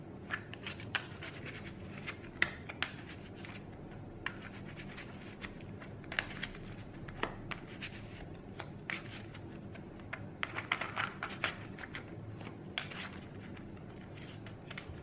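A small, solid deck of Neapolitan playing cards made of thin printed cardstock is held in both hands over a cloth-covered table and shuffled and riffled with the fingertips. Quiet, scratchy shuffling is broken by short, bright card flicks and clicks scattered throughout, over a steady low background rumble.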